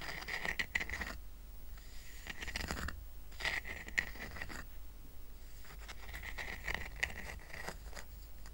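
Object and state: Woven rattan coaster being scratched.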